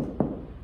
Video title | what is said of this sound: Eric Made Bread! Sourdough Country Loaf | tapping it sounds Hollow it's done